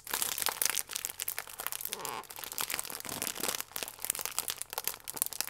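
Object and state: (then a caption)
Plastic film food wrapper crinkled. A printed plastic film pack with a croissant inside is crinkled and squeezed with fingertips, then tilted. Dense, bright crinkling with many quick sharp snaps runs throughout, broken by a brief smoother swish near the middle.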